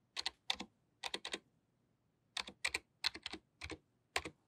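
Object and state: Plastic membrane computer keyboard.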